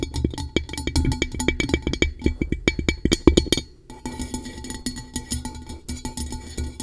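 Long nail tips tap quickly on the base and sides of an upside-down, blue-coated hollow metal tumbler. Sharp, dry clicks with a dull low thump and a faint tone sound for about four seconds, then briefly pause. The tapping resumes as a softer, denser patter of bright ticks with very little ring.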